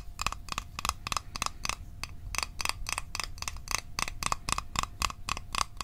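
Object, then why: Small closed metal mint tin. A small, hollow, closed rectangular metal Altoids mint tin is held in the hands and tapped with fingertips and fingernails. About 22 quick, uneven taps each give a short, bright metallic click with a tinny ring near 1.1 kHz, over a faint low rumble.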